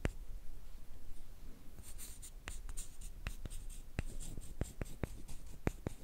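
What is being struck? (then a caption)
Two thin wooden sticks. One thin, flat, light solid wooden stick about hand length is rubbed and scraped along another. The result is a dry, continuous rasping with a steady low rumble, broken by sharp, quick clicks that die instantly. Bright, hissy scrape texture is heard over the second half.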